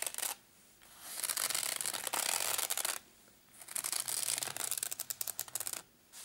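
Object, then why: Padded nylon zip case. Fingernails scratch and fingertips tap and rub the fabric top of a small, hollow, black padded nylon zip case. Two long stretches of dry, bright, high scratching and rubbing are each set off by brief quiet gaps. The second stretch breaks into quick, uneven taps before the sound falls away.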